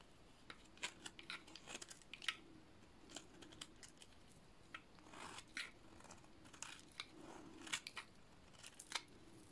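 A solid cream-colored dry soap bar is shaved flat with a utility-knife blade, giving a series of short, dry, bright scraping and crunching strokes over a low steady hiss. The blade passes come in uneven bursts with sharp high clicks as the soap flakes off.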